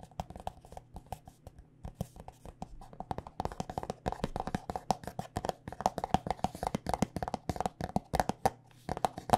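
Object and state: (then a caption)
Plastic lotion squeeze tube. Long nails tap rapidly on a white plastic body butter squeeze tube filled with lotion, making quick, dry, hollow clicks centered around 750 Hz that die away almost instantly. The tapping is sparse at first, then grows denser and louder from about four seconds on, over a faint steady low hum.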